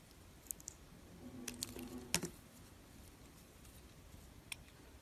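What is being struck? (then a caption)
Glycerin soap bar. A metal blade scores and scratches shallow lines across the surface of a solid, translucent yellow, oval glycerin soap bar, palm-sized and held in one hand. Quiet, bright, crisp clicks and ticks are heard, with a brief scraping rasp carrying a faint low tone at about 172 Hz in the middle, before it fades back to soft background hiss.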